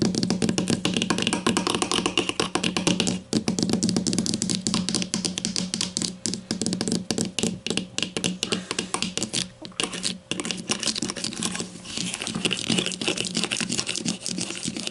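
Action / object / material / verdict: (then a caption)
tap / plastic deodorant stick casing / plastic / none. Long nails tap rapidly on a grey plastic deodorant stick lying on a table, first on the cap end and then along the side of the casing. The result is a dense, continuous stream of crisp, bright plastic clicks with a hollow low-mid body and very short decay, with a few brief pauses.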